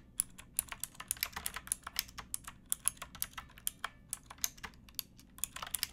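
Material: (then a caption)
Plastic. Fingertips and nails type steadily on a pink backlit mechanical keyboard with plastic keycaps, making 34 quick, bright keystrokes over six seconds. Each click is sharp and dry with almost no ring, over a faint low background.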